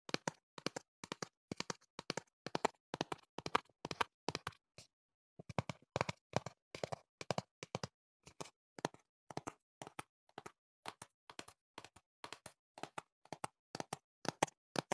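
Fingertips tap the back face of a hollow printed cardboard box held up by hand, striking in quick clusters of two or three with a brief pause near five seconds. Each tap is a short, dry, papery knock with a hollow body and no ring.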